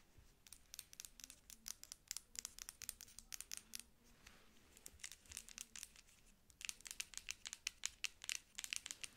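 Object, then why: Plastic pump lotion bottle. Long acrylic nails tap and scratch a hand-sized, apparently filled dark plastic pump lotion bottle with a white label and black pump top, held in both hands. About forty quick, bright, dry clicks come with almost no ring, easing into a softer scratchy stretch near the middle. The taps then return denser and louder toward the end.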